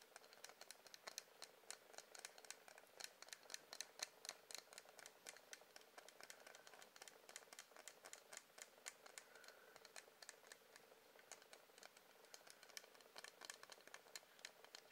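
A medium blue pillar candle of solid wax is tapped and scratched with fingernails, producing a steady stream of rapid, crisp clicks and light scratches. The sound is quiet and bright, with no low end, and each tap dies away almost instantly.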